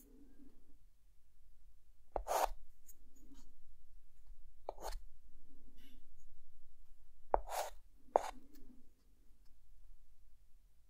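A short white chalk stick draws an outline on a flat, solid dark chalkboard. Soft, low rasping strokes alternate with sharp, bright scratches as the chalk drags across the board surface.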